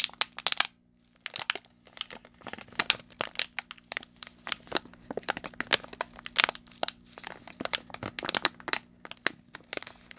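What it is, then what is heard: Plastic foil candy bag being crinkled. A small, colorful plastic foil candy bag filled with contents is squeezed, crinkled and scratched by the fingertips of both hands close to the mic. Dense, bright, dry crackles and crinkles come in rapid bursts with no ring, after a brief pause near the start.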